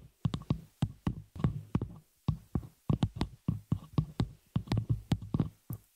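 Long nails on both hands tap and scratch the hollow, open frame of a small metal spider-cage shock mount holding a microphone. The result is a quick, uneven run of short, close-miked knocks, each a deep low thud with a brief bright click on top. Each knock dies away almost at once between the bursts of tapping.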